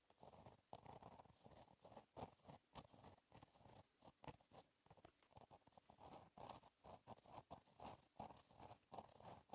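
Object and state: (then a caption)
Pen writing on a paper notebook page. A fine-tipped gel pen held in the fingertips writes cursive letters across a flat black lined paper notebook page. It makes a steady run of short, soft scratching strokes centered in the mids around 770 Hz, with faint bright edges. Quick pauses fall between words throughout.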